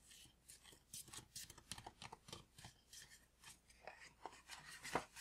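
A tall green paper gift bag that appears empty is tapped with the fingertips and nails, giving a quick, uneven run of about seventeen dry, papery taps. Each tap is short and crisp, with bright crinkly highs, little low end and almost no ring. The loudest, sharpest tap lands near the end.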